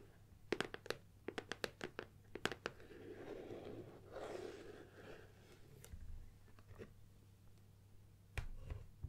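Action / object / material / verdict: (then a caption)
tap / closed cardboard box / cardboard / none. Long nails tap a closed, hollow gold Nikon cardboard lens box while holding it, making a quick run of sharp, dry, hollow clicks. This is followed by a soft, papery scratching rustle across its front and sides. The box is then tilted, with a few low bumps and more light taps at the end.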